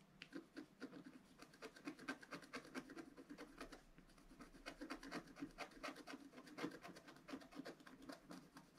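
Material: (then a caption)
Coated paper. A wooden stylus makes fast, dense scratches on the right-side flower of a flat black-coated scratch-art paper card. Quick, dry scratching strokes come in a steady rhythm, with a brief lull near the four-second mark. Each stroke has a rough mid-range body and a bright, raspy edge.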